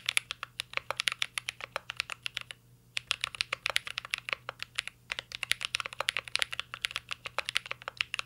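Fingertips type steadily on a mint-green Cyberboard R3 mechanical keyboard with plastic keycaps and a metal case. The keystrokes are a rapid stream of crisp, bright clicks with almost no low end, broken by a brief pause around the middle before resuming.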